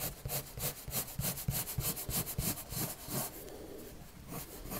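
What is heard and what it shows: A red colored pencil rubs quick back-and-forth strokes across a white sheet of paper lying flat. Each stroke makes a bright, scratchy hiss with a soft low thump, repeating at about three per second. Partway through, the strokes soften into a quieter, steadier rubbing before picking up again.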